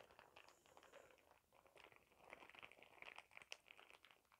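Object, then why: Thin plastic shower cap. A clear printed plastic shower cap with glitter is scrunched and crinkled by hand close up. The result is a quiet, bright, dry crinkling made of many sharp little crackles, with almost no low end. The crackles grow denser and louder in the second half.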